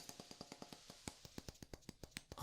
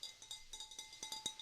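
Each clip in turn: First: tapping on wood. Second: glass vase.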